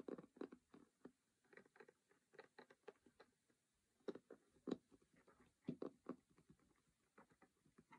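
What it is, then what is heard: Cardboard game box lid. Fingertips and nails tap and scratch across the lid and along the edges of a closed cardboard Monopoly game box, its lid printed white and red. The result is a quiet, dry patter of short taps and light scratches, centered in the low-mids with almost no ring. The taps come in uneven bursts with brief pauses between them.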